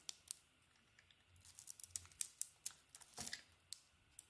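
A metal blade cuts into a solid, palm-sized purple-and-white bar of soap held in the hand, peeling off thin shavings. It makes a quiet, rapid run of crisp, bright scraping clicks and soft crackles with almost no low end. Each short cut stops dead with no ring.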